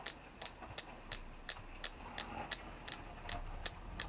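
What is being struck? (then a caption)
Selenite stone carving. A palm-sized solid white flower-shaped selenite carving is tapped and scratched with long painted nails. Twelve short, bright clicks sound at a fairly steady pace over about four seconds, with a light scratchy texture between some of them.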